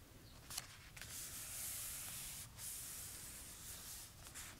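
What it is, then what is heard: Paper notebook pages being rubbed and turned. Fingertips with short nails trace and rub over the uncoated, handwritten paper pages of an open notebook with a pink hardcover, with some page turning. The result is a quiet, steady, bright papery hiss and swish, broken by a few brief crisp rustles and a short lull.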